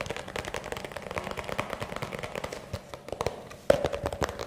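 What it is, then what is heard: Plastic tub. A small, hollow white plastic round tub or bowl, apparently empty and held in the hands, is rapidly tapped and scratched with fingertips and nails. The result is a fast, dense run of short, dry clicks and scrapes with a hollow ring around 560 Hz. A louder tap lands near the end.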